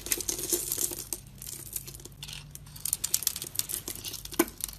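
A box-cutter blade scrapes the crumbly coating off a solid, dark brown faceted soap bar with a glossy top, held in the hand, shaving it away in flakes. The sound is a dry, bright crackling and crinkling made of many quick scratchy bursts. It is busiest at the start and end, with a softer stretch in the middle.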